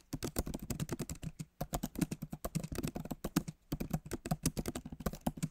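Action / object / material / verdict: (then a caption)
tap / laptop keyboard with plastic keys / plastic / none. Fingertips of both hands type fast on the backlit keyboard of a MacBook Pro, whose plastic keys sit in a solid aluminum body. A rapid stream of short, dry key taps with a low thud and light bright click runs in three bursts, separated by brief pauses near 1.6 and 3.6 seconds.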